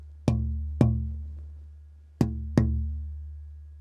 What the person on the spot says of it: this wood will produce a bass sound all in the European spruce vein which I like